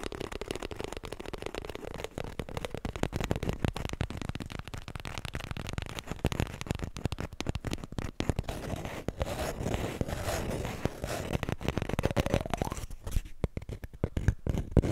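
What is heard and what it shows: A small, full roll of white toilet paper held in both hands is tapped fast and scratched with long nails. The result is a dense, continuous stream of soft, dull taps with crackly, papery scratching, mostly low and muffled with little bright content, fading into a sparser scratchy texture near the end.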